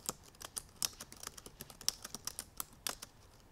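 Long purple nails tap the black plastic keys of a silver aluminum MacBook Pro in fast typing. About twenty quick, bright, dry clicks come at an uneven pace, each dying away almost instantly, with some landing harder than others.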